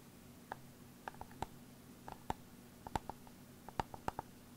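An old 500 GB external hard drive casing is tapped 14 times in an irregular rhythm. Each tap is a short, dry click with a tonal knock near 880 Hz and almost no ring. A faint low hum sits underneath throughout.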